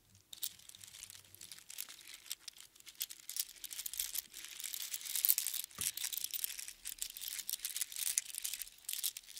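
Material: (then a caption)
Shell. A strand of small hollow sea snail shells strung together on string is gathered and shaken in both hands, so the shells rattle and crunch against each other. The result is a quiet, continuous, bright crackling rattle of dense, rapid clicks with almost no low end, lasting about nine seconds.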